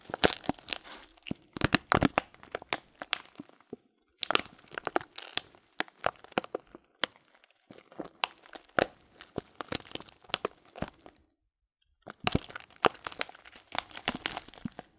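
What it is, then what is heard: Plastic bag of loose dried fruit tea. Fingertips squeeze and crinkle a sealed, transparent plastic bag of loose dried fruit tea. Dense bursts of sharp, bright crackling and crunching come in clusters, separated by brief silent pauses around 4, 8 and 12 seconds.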